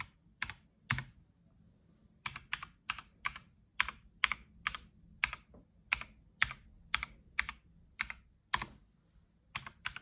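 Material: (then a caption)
Plastic. A black-gloved fingertip presses individual keys one after another on the number and letter rows of a white Logitech G715 tenkeyless mechanical keyboard with plastic keycaps. Each press gives a sharp, bright clack that dies away almost instantly, in a steady, unhurried rhythm with one brief pause near the start.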